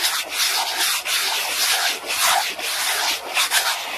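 A black plastic clear-holder document folder lying flat is rubbed fast by hand with an orange round textured brush. The result is a steady, bright, hissing scrub in quick back-and-forth strokes, mostly high with almost no low end.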